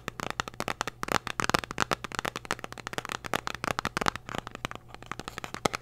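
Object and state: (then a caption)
Cardboard candy box. A small, hollow, red printed cardboard candy box is held close to the microphone and tapped and scratched with long, dark-painted nails. A rapid, uneven run of crisp, dry clicks and scratchy taps spreads from the low mids into the bright highs, each dying out at once with no ring. A faint steady low hum sits underneath.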